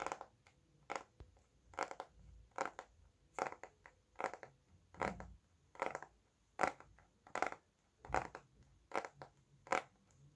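A solid red Bescherelle conjugation paperback with a glossy card cover is held upright and tapped with fingertips and nails. The result is a series of short, dry, papery taps with a midrange body and faint bright edges. The taps come at an uneven pace, some in quick clusters and others spaced apart, and each dies away almost at once.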